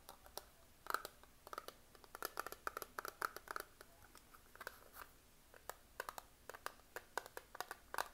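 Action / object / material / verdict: tap / plastic eyeshadow palette / plastic / none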